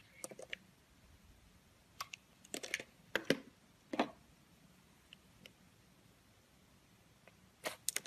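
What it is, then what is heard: Bar of soap scraped with a blade. A solid purple oval soap bar is held in the hand and scraped first with a utility blade, then with an orange vegetable peeler. Short, dry, crackly scraping bursts come at irregular intervals, bright and crisp with almost no low end, separated by near-silent pauses.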